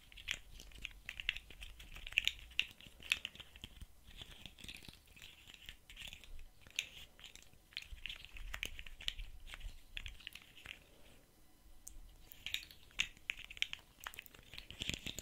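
A rainbow-colored articulated plastic fidget slug with hollow segments is held in the hands while the fingers flex and click its segments. The result is a quiet, bright stream of dry plastic clicks and crinkly rattling in bursts, with short pauses between them.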